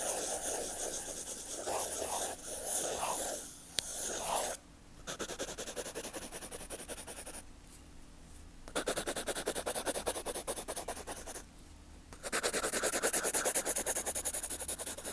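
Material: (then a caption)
Paper. A graphite pencil held in the fingers scribbles and shades back and forth on a cream page of a spiral notebook lying flat on a dark fabric surface, with a white earphone cable resting on the page near the pencil. The rapid, scratchy strokes sound dry and bright. They stop for short pauses near 5, 8 and 12 seconds before the scratching resumes.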